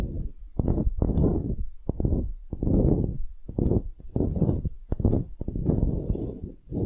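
Long nails scratch across a small solid light-wood block with engraved lettering and a string loop, held in the fingers. Repeated low, dry scraping strokes with sharp taps between them; the sound is dull and short, with no ring.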